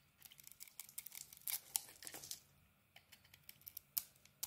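A utility knife cuts away the light blue outer layer of a solid bar of soap with an orange core, held in the palm. Quiet, bright, crisp shaving and crackling sounds come in a rapid string of short scrapes, with a few louder slices standing out. Each scrape stops sharply with no ring.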